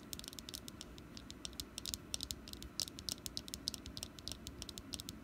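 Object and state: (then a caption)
Wax pumpkin candle. Long nails tap rapidly on a small, solid orange wax pumpkin candle, producing a quick, uneven run of short, bright clicks. Each tap dies away almost instantly over a faint, steady low hum.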